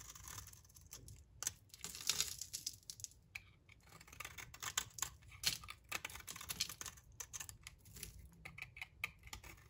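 A solid rectangular bar of dry green soap, held in the hand, is shaved into thin curls with a utility knife blade. The blade makes a rapid series of short, dry, bright scraping and crackling strokes with almost no ring, in clustered bursts over a quiet low hum.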